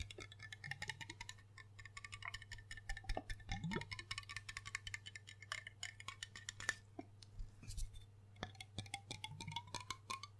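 Fingertips and nails tap rapidly over the embossed glass base, body and label of a large, hollow, dark glass rum bottle held close to the mic. The taps come as a dense run of quick, bright clicks with a short glassy ring near 1.8 kHz, over a steady low hum.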